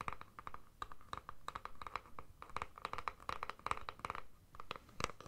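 Long nails scratch the surface of a plastic deodorant stick container held in both hands. A quiet, rapid run of short, dry scratches and clicks repeats throughout, each with a faint ringing tone from the plastic and brief bright edges.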